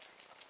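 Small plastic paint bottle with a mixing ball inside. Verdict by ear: Mixed.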